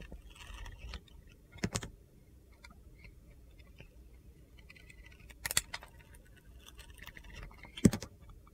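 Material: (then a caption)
Soap. A utility knife blade carves and scrapes curls off a solid red-orange glitter soap bar studded with gold stars, held in the hand. Soft, gritty scraping runs throughout, broken by a few sharp, crisp cutting snaps.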